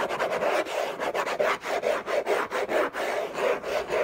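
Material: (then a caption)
Cardboard. Short fingernails scratch fast across the textured surface of a large, flat, orange Hermès cardboard box lid, which is hollow. The result is a quick, uneven series of dry, raspy scraping strokes with a papery midrange hiss and almost no low end.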